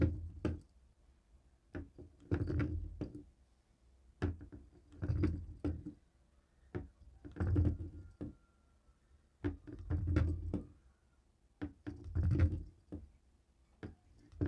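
The stone rollers of a jade roller tap a dark grey plastic cable TV remote lying on a wooden table. The result is short, dull, low knocks that fade quickly, coming in loose clusters of rapid taps separated by brief pauses.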